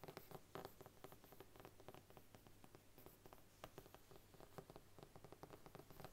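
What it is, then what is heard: Faux leather covered book. Long nails tap and scratch the embossed front cover of a large brown faux leather Bible standing upright on a wooden table. The result is a quiet, steady patter of quick, dry clicks with a scratchy rustle and a faint hollow tone from the cover.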